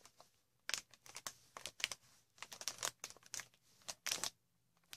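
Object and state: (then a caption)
Plastic air cushion wrap. Long red nails scratch and squeeze green inflated plastic air cushion packaging with hollow cells. The result is a quiet, irregular run of bright, dry crinkles and crackles in short bursts, with a few louder clusters and almost no low end.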